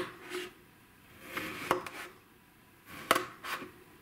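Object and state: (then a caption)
Kinetic sand being cut with a knife. A black kitchen knife slices repeatedly through a flat, solid, hand-sized disc of blue kinetic sand with a dotted pattern pressed into its top, resting on a white surface. Each cut makes a soft, gritty crunch that ends in a sharp, bright click as the blade meets the surface underneath, separated by quiet pauses.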